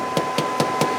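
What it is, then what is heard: Workpiece solidly seated, no hollow underneath. A blank for a Kay-Tee oil sight glass, held with double-sided tape on a mill platen, is tapped four times to check that it is seated. Each tap gives a short, dull knock over a steady background hum. The knocks sound solid with no hollow ring underneath, showing the blank is down on the platen and ready for engraving.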